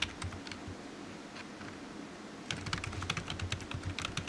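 Fingertips type on the hollow keys of a low-profile black plastic computer keyboard resting on a desk mat, making light, bright clicks and taps with a soft low thud under each press. The typing is sparse and uneven for the first half, then becomes a quicker, denser run of irregular taps from about 2.5 seconds to the end.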